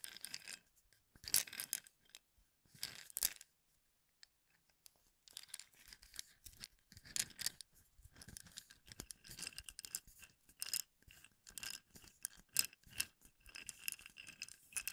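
A full plastic cup of wooden toothpicks is held sideways while fingertips and nails scratch and click over the bundled toothpick tops. Quiet, bright, crisp bursts of rapid scratching and clicking come in clusters, with a short near-silent pause early on. The sound has almost no low end and each click dies away instantly.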